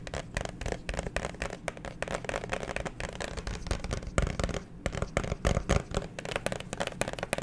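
Fingernails tap quickly on a clear plastic liquid-glitter phone case with a pop grip, held in both hands. The result is a steady stream of dense, clicky taps with short, dry attacks and a full low end.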